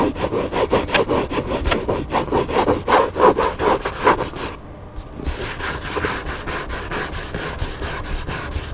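Several fingertips and nails scratch rapidly across the paper cover of a large black hardcover book lying flat. The result is a quick, raspy, rhythmic scratching of repeated strokes. It briefly dips in level around the middle, then continues as a steadier, denser rubbing.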